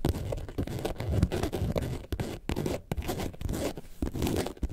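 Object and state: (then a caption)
Faux leather carton-shaped bag. Long nails scratch the white and yellow panels of a faux leather, carton-shaped lemonade bag lying on its side. The result is a steady run of dense, rasping scrapes with a heavy low rumble and brief bright bursts of friction noise, broken by short pauses.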